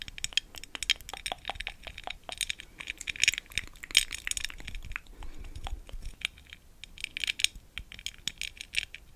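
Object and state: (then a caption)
Glass candle jar tapped with nails. Long acrylic nails tap and scratch a large amber-brown glass candle jar with a sparkly textured surface, a lid, and candle wax inside, held in both hands close to the mic. The result is a steady stream of quick, bright, clicky taps and scratchy glassy clinks with almost no ring, coming in denser bursts at times.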